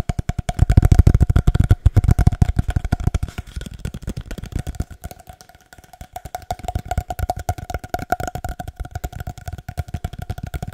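A long, hollow, empty cardboard paper towel tube is tapped rhythmically and rapidly with the fingertips. It gives short, deep, hollow thuds with a faint tonal resonance around 700 Hz. The tapping is strongest at the start, softens and nearly fades mid-clip, then resumes steadily to the end.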